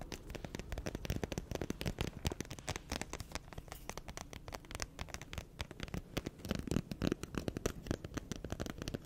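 Long nails are rubbed and filed quickly across the gritty surface of a black emery board nail file. The result is a dense run of short, dry scratching strokes with a rough, low-heavy rasp and little high sparkle, holding steady throughout with a few louder swipes near the end.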